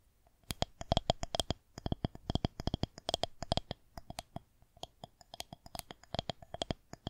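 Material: Plastic.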